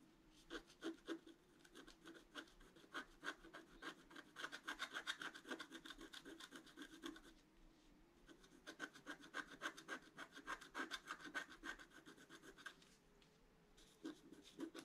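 A pointed wooden stick scratches a flat scratch-art page, a black coating over colored paper, in quick, uneven strokes. The result is a soft, dry, bright rasping with a brief pause midway and another near the end.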